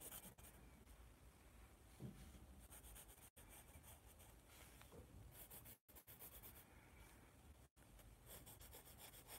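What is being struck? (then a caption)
Pencil on a paper sketch pad. A yellow pencil rubs and shades across a white paper sketch pad held by its top edge. It makes a steady, quiet, scratchy graphite-on-paper rasp with a soft low rumble and faint bright hiss. The rubbing continues throughout, broken by three brief pauses to near silence.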